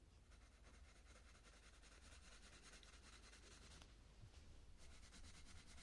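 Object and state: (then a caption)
Coloured pencil on paper page. A purple wooden coloured pencil is stroked repeatedly across the petal area of a flat paper colouring book page. The result is a quiet, continuous scratchy rubbing with a bright hiss that pulses with each stroke. It briefly thins out near the end before resuming.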